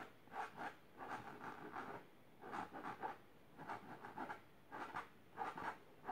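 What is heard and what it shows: Long silver nails scratch the fabric of a large pink patterned fabric-covered box or ottoman. Short, dry bursts of rough scratching come in a steady rhythm, centered in the midrange with little bass or high end. Between bursts there are brief near-silent pauses.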